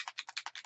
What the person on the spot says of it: Hear that bead in there?